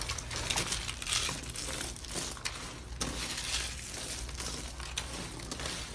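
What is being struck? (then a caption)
Soap curls and shavings. Fingers crush and crumble white, hollow dry soap curls and shavings on a teal marbled tray. The result is a steady, dense, bright crunching and crackling, with sharper snaps rising above the continuous crinkle.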